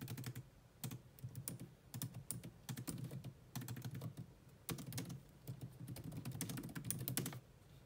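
Fast typing with long nails on a grey laptop keyboard with low-profile plastic keys, sometimes using both hands. Quick, dry clicks and taps come in dense bursts with brief pauses between them. Each one has a short bright tick over a soft low thump.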